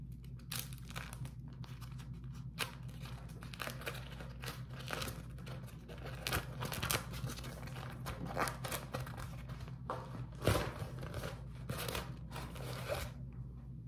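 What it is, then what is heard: Beeswax-coated cotton food wrap being crumpled and peeled. A crumpled beeswax-coated cotton food wrap is pulled open and folded by fingers, giving off crinkly, sticky peeling sounds in bright bursts. A steady low hum sits underneath throughout, and the loudest snap comes about two-thirds of the way in.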